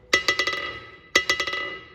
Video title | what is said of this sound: 461lb WOODASTON&Co ANVIL REBOUND TEST AFTER RESTORATION | Heel, that's hard faced.